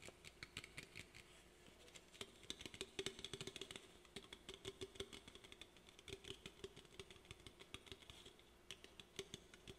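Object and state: Aluminum soda can.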